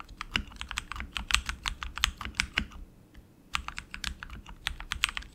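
Both hands type continuously with their fingertips on a tenkeyless RGB mechanical keyboard with tactile switches, plastic keycaps and an aluminum frame. The keys give a quick run of sharp, bright, dry clacks with a soft low thud under them, each dying out at once. The typing pauses for about half a second near the middle, then picks back up.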